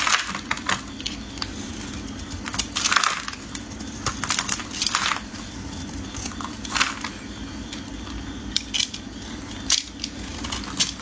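A metal utility blade scrapes and carves the surface of a solid, hand-sized yellow-green bar soap held in hands wearing pink finger cots. Repeated crisp, bright scraping and crunching strokes come in short bursts over a steady low hum, each stroke ending quickly with little ring.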